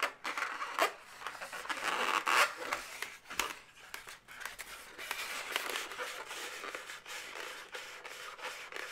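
Long nails rub and scratch the segments of a pink, inflated, hollow latex twisting-balloon animal held in both hands. The result is a run of dry, bright scratching and squeaky rubbing strokes with short sharp clicks, fairly loud at first and then softer and steadier.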